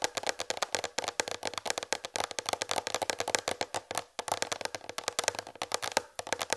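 Long red fingernails tap rapidly on a large white plastic tray that sits slightly tilted. A fast, continuous run of short, dry clicks follows, each dying away almost instantly, with a hollow plastic tone around 535 Hz and bright, crisp edges and almost no low end.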